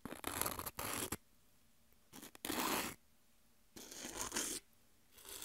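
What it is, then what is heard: Tortilla chips. Long nails scratch thin, dry, triangular corn tortilla chips, and the chips are rubbed against each other. Several bursts of bright, dry crackling and scraping come and go with short quiet gaps between them.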